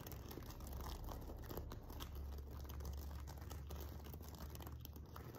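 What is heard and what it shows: The fingertips and nails of both hands scratch the sequins along the top edge of a silver sequin-covered fabric pillow. The result is a steady, quiet stream of soft crinkly scratching with faint brighter ticks, over a continuous low hum.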